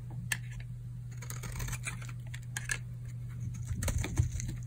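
A metal blade scrapes and shaves flakes off a solid pink bar of hard, dried soap held in the hand. Short, dry, crisp scratches and ticks come in irregular bursts, bright at the top, over a steady low hum.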